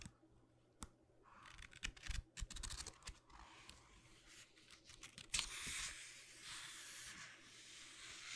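Long nails and fingertips tap and scratch the textured, grid-patterned cover and page edges of a small, solid paper notebook held in the hand. Quiet, bright scratching and rustling comes in uneven bursts, broken by a few sharper, louder taps, over a faint steady low hum.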